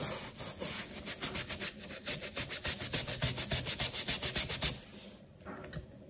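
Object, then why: Wet rubber shoe sole scrubbed with a bristle brush. A wooden-handled bristle brush scrubs the wet, lathered black textured rubber outsole of a sneaker in quick, steady back-and-forth strokes. About seventeen bright, scratchy rubbing passes grow louder and more even, then fade into a few softer, slower scrubs at the end.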